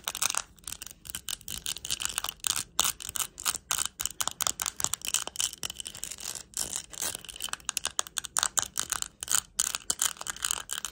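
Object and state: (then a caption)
Rhinestone-covered jar. Long pointed acrylic nails rapidly tap and scratch across the faceted purple, green and clear plastic rhinestones covering a small round jar or lid. The result is a dense stream of sharp, bright, high-pitched clicks with a crisp scratchy hiss between them, each tick dying away almost instantly with almost no low end.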